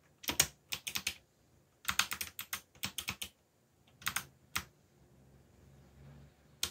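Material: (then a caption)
Plastic. Fingertips press the black plastic keycaps of a backlit mechanical computer keyboard in typing taps. Short bursts of sharp, bright clicks are separated by brief pauses. Each click dies away almost instantly, with a faint low hum between bursts.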